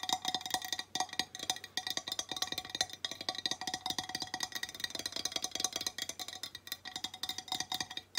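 A flat, square, glazed ceramic tile plaque reading "Welcome to the Mountains!" is held in one hand and tapped with long nails. The sound is a fast, continuous run of sharp, bright clicks with a faint ringing tone near 740 Hz, each tap dying away almost instantly. The tile sounds solid, with almost no low end.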